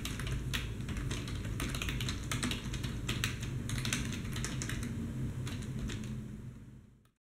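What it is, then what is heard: Plastic computer keyboard being typed on. Fingertips type with both hands on a black plastic desktop keyboard, producing a quick, uneven stream of bright clicking keystrokes. A steady low hum sits underneath, and the sound fades out at the end.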